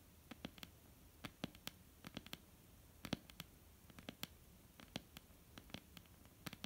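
Long almond-shaped painted nails of both hands tap on a flat, solid wooden tabletop in a quiet, uneven patter of about 26 taps. Each tap is a short, dry, bright click with a soft low knock near 200 Hz, dying away instantly.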